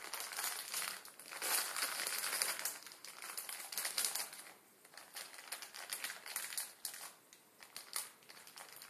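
Fingertips scratch and rub a full Maruchan instant ramen packet, its plastic film holding the noodles and lying flat on a wooden table. Dense, bright crinkling and crackling with almost no low end is loudest in the first half, then continues in softer, sparser bursts.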